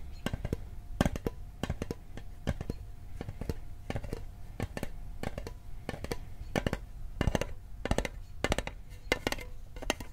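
Fingertips and nails tap rapidly on the lid and edges of a small, hollow, rectangular metal Altoids mint tin held in the hand. The clip is a dense run of short, dry clicks that die away almost instantly, with a low, hollow body under bright tick-like edges. Some taps land louder than others over a faint steady tone.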